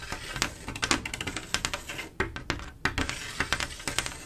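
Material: Glass.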